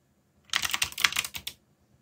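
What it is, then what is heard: Mechanical keyboard with plastic keycaps. A black backlit mechanical keyboard with plastic keycaps is typed on by fingertips at a moderate pace. The result is a quick run of bright, clicky keystrokes with a short, dry ring, lasting about a second between silences.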